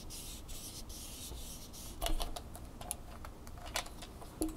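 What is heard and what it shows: Long fingernails rub and tap the clamp head and bumpy legs of a red plastic flexible tripod held in the hands. The first two seconds are soft, steady bursts of bright, hissy scratching. Then come quick, dry plastic clicks and taps, ending on one sharp, louder tap.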